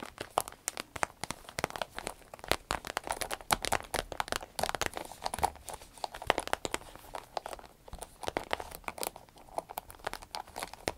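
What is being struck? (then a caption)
Vinyl zip pouch. A medium green striped vinyl zip pouch, empty, is squeezed, crinkled and scratched with long nails. The result is a dense run of sharp crinkles and crunchy scratches with bright, quick clicks and almost no low end.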